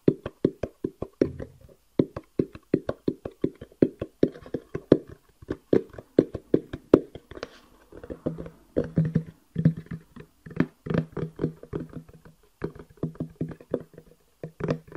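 Fingertips tap rapidly on the faces and edges of a small, hollow, rectangular black cardboard box with a white edge and an 'eGo-T' label, held up in both hands close to the microphone. Dozens of short, dry, hollow taps with a woody mid-low tone come in quick rhythmic bursts separated by brief pauses. Each tap dies away almost instantly.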